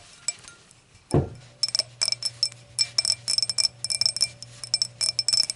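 Long acrylic nails tap the stem of a clear, empty, hollow stemmed hurricane glass lying on a towel, then tap and scratch its round glass foot. A quick series of bright, high glassy clicks and clinks is heard, each dying away almost at once, with a duller bump near the start.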